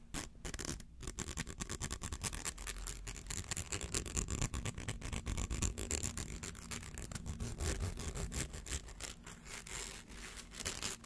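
A rainbow-colored plastic slinky held in the hands has the edges of its coils scratched by fingernails. The result is a steady, rapid stream of dry, crackly scratching clicks over a low rumble, continuing without a break for the whole clip.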